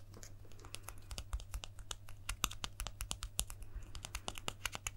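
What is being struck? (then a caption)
Small plastic guitar pick. A small, thin, solid plastic guitar pick is held up in the fingers and tapped and scratched with the fingertips and nails. It makes a rapid, irregular run of sharp, dry clicks and brief scratchy ticks that die away almost instantly, over a steady low hum.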